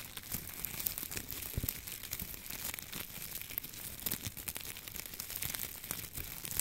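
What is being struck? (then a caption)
Dried wheat ears and stalks. A bunch of dry wheat ears and stalks hangs in front of the microphone while the fingertips of both hands stroke, scratch and rustle the dry ears. The result is a steady, bright crinkling and crackling with many short, dense snaps and very little low end.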